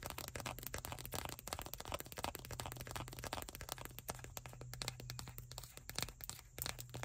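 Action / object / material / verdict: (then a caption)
tap / small plastic squeeze tube / plastic / none. Long acrylic nails rapidly tap and scratch along the printed label of a small white plastic cosmetic tube with a blue cap, which is hollow and partly full. A dense run of quick, bright clicks and dry scraping crackles continues throughout, over a steady low hum.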